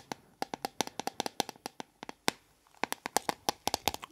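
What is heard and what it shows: A small metal tea tin is tapped with fingernails in quick, uneven bursts. The taps are sharp, short and bright, with a metallic ping around 800 Hz. The rhythm pauses briefly midway before resuming, and the tone on the metal comes across slightly more aggressive.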